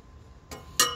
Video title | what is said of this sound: 최지후 생후37개월 귀요미들 하원길 풍선 최재하 생후19개월 | 쇠는 정말 날카로운 소리가 나네.